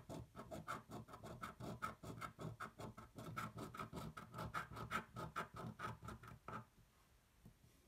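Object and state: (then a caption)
Scratch-off ticket scraped with a coin. A metal coin held in one hand scratches the latex coating off a thin coated paper lottery ticket lying flat on a white table, held down by the other hand. About thirty quick, unevenly spaced raspy scraping strokes come in a steady run, each with a faint whistling tone near 1.3 kHz. The scratching stops at around six and a half seconds, leaving near silence.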